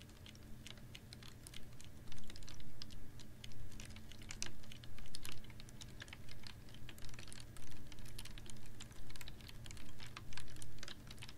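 Long nails tap rapidly and irregularly on a clear ribbed PET water bottle held upright in one hand, with a little water inside. The sound is dry, bright, clicky ticks with almost no ring, coming in louder bursts over a steady low hum.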